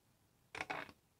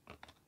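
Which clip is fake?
The second.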